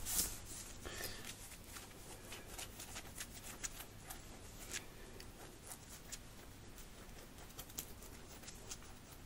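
Fingertips and nails scratch fast across a red cotton t-shirt worn on the chest, rubbing both the fabric and its printed graphic. The result is a steady, quiet, dry scratching with short bright rasps and faint clicks, possibly from bracelets on the wrists, over a low rumble.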